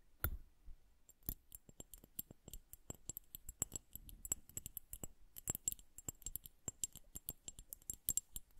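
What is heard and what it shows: A liquid-filled glass bubble hourglass is tapped with long nails, then tilted and turned by hand so the liquid inside plops and bubbles. The result is a quiet, steady stream of sharp, bright clicks and ticks with very short ring, mixed with soft low bumps from the liquid.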